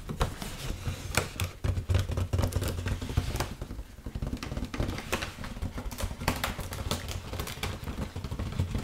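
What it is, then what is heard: Foil balloon tapped and scratched by nails. Long nails tap and scratch the surface of an inflated, hollow red mylar foil heart balloon held up in the air. Quick, sharp taps stand out over a crinkly scratching texture, with a steady low hum underneath. Each tap dies away almost at once.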